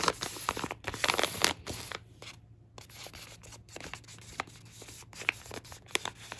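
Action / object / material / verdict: scrape / filled plastic laminate food pouch / plastic foil / none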